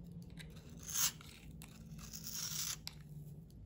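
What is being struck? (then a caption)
Bar of soap. A round solid bar of soap, blue outside and white inside, held in the palm, is scraped and shaved with a metal utility knife blade. Bright, dry scraping strokes rasp across the surface with a steady low hum beneath. The loudest shave comes about one second in, and a longer sustained scrape follows near the end.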